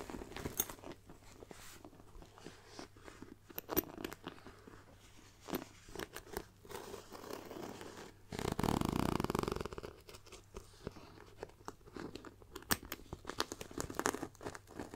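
Long nails scratch across the grained surface of a black pebbled faux leather backpack near its hollow front zip pocket. Irregular dry scratches and light ticks repeat throughout over a faint low hum. A louder, broad rustling scrape swells for about a second midway through.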